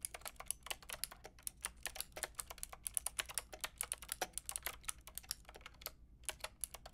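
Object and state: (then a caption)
Plastic mechanical keyboard being typed on. A white and pink Lofree mechanical keyboard with round plastic keycaps is typed on with long painted nails and fingertips. It makes a steady run of quick, bright plastic taps and clicks that stop dead after each press, over a faint low hum. Brief pauses break up the flow of typing.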